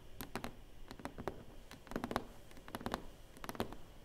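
Long fingernails and fingertips tap and rub across the lid of a large, flat, closed, hollow black cardboard box. The result is a quiet, irregular patter of short, dry clicks with a soft hollow thump in the low-mid range and almost no ring, set against a faint scratchy rubbing between the taps.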